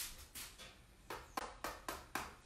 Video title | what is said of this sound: Making pizza with a Pretzel and Pizza Creations pizza kit. | you could tap it and you'll be like crusty